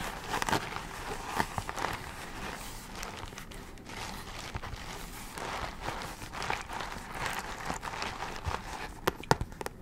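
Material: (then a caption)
Plastic. Long nails tap and scratch a medium, flat, padded bubble mailer of metallic holographic plastic with a pink FRAGILE sticker, held in both hands; it is hollow and appears to hold something. The result is a steady crinkly, rustling scratch with soft, irregular taps and a few sharper clicks near the end.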